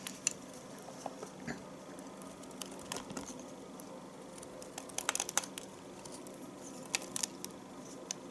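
A metal knife slices and shaves pieces from the edge of a solid bar of household soap held in the fingers. Quiet, short, bright crisp scrapes and clicks come at irregular moments, with brief clusters of sharper cuts. Beneath them runs a faint, steady low hum.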